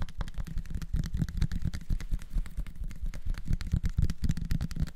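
A small clear bottle with a red plastic screw cap and a label, apparently holding some contents, is held in both hands and tapped with the fingertips. It gives a steady run of rapid, dull, low thumps with very short decay and almost no high-frequency ring.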